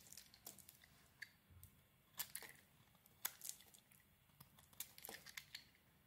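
A utility knife blade shaves curls from a solid yellow oval bar of soap. Soft, crisp scraping and crackling strokes come in short bright bursts with dry, quick-fading edges, separated by quiet pauses.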